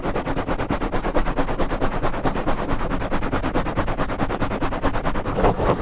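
Fingertips of both hands scratch a black foam microphone windscreen fast and aggressively from the sides. The result is a dense, rapid run of rough, muffled scratching strokes with a deep, boomy rumble concentrated below 200 Hz and little high-end content. The strokes stay steady in loudness throughout, with a slightly brighter swish near the end.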